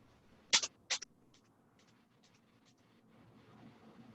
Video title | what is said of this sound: Music and Movement: Music and Shakers | now when i shake it it doesn't sound as much like little patterning of rain it sounds heavier